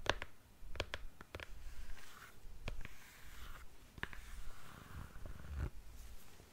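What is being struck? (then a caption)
Patent leather high-heeled shoe. Long nails tap and scratch along the heel and counter of a single black glossy patent leather stiletto high heel held up in the air. Sharp, bright clicks are spaced out between soft, low scratching and rubbing.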